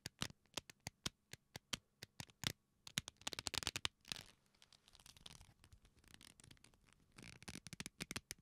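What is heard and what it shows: A leather belt folded into loops is pressed and rubbed between the fingers and palms, producing a repeated creak and rub of the leather. The first half is a quiet string of sharp, bright creaks and snaps, which gives way to a softer, more continuous crackling rub before a few crisp creaks return at the end.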